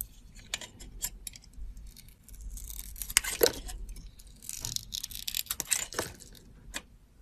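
A metal box-cutter blade cuts and scrapes a solid teal soap bar with a copper glitter edge. Crisp, bright scratching and short sharp clicks come in irregular bursts, with brief hissy scrapes between quieter pauses.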